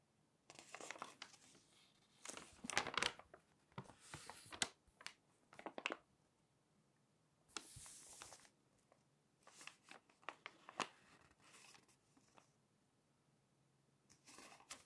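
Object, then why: Glossy paper magazine page. Long nails and fingertips rub across an open glossy paper magazine showing a red page and lift the page edge. Soft, bright crinkling and scratchy paper rustles come in short bursts separated by near-silent pauses. The sounds are quiet and dry, with almost no low end and no lingering ring.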